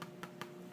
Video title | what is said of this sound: HONEY OATMEAL BREAD Recipe using the Bread Machine #leighshome | it sounds hollow inside so it's done